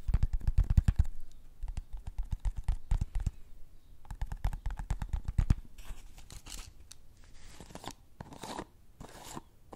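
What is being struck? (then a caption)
Plastic cup holding cotton swabs. A small clear pink plastic cup full of teal cotton swabs is held and tilted beside the mic and shaken, with long nails also on the cup. Dense, rapid rattling and crunchy clicks come first, then softer, airy scraping and rustling bursts.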